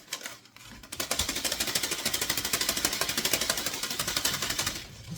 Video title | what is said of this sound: Harvesting Green Onion Seeds from my garden💚 | grab it and shake it. You can hear them all